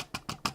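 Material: Plastic.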